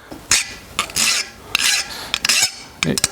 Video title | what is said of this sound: Dirty Smith ep 31 Part 2: Forging and Heat treating a cold chisel | It's taking away more material. Even on the flat, you hear that different tone.